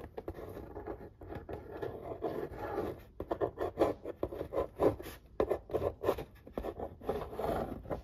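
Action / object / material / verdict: scrape / corrugated cardboard pizza box lid traced with a marker / cardboard / none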